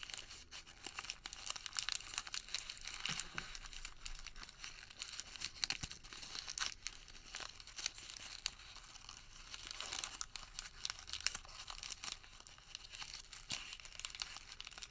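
A crumpled white thermal paper receipt is worked between both hands with the fingertips, giving a dense, continuous run of quiet, crisp crinkles. The sharp, bright rustles and crackles carry almost no low end and stop short, with no ring after them.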